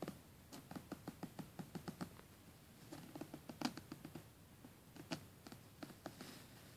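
Fingernails scratch along the teeth of a closed black plastic coil zipper on a red polyester soft-sided suitcase. The result is a quiet run of short, dry, scratchy ticks with a low-mid body and bright edges. The ticks come in bursts separated by brief pauses.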